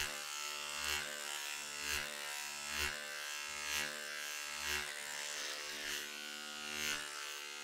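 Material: Nothing is struck.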